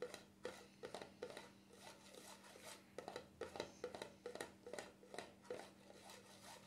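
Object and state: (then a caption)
Plastic cream jar lid. Fingertips rub and scratch across the black plastic lid of a small cream jar, producing quiet, dry scratchy bursts with brief clicky taps that repeat at an irregular pace. Each stroke is short and bright with almost no ring, over a faint steady low hum.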